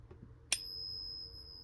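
A Liberty Walking Half dollar is struck once with a small homemade pinger hammer, giving a sharp click followed by a clear, bell-like ring of high, steady tones that sustain for over a second. The ring passes all four of four peaks, confirming the coin as genuine 90% silver.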